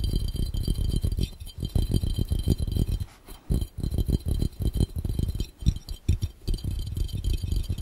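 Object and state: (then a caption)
Glass fishbowl, fast fingertip tapping. Fingertips tap rapidly on a clear, round, hollow, empty glass fishbowl. The result is a fast, continuous patter of short, dull low thumps with faint glassy clinks above them, with a few brief pauses in the tapping.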